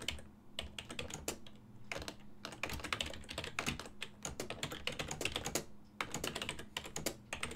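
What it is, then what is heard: Plastic computer keyboard. Fingertips of both hands type on a full-size black and silver plastic desktop keyboard, its keys set on a hollow body. Quick, bright, clacky key taps come in rapid bursts with short pauses, each tap dying away almost at once over a faint steady low hum.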